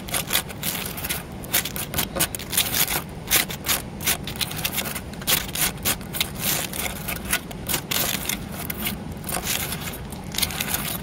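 A solid, porous grey concrete block carved with a relief is tapped and scratched with fingernails. The result is a dense run of short, bright scratching and tapping sounds over a steady low rumble.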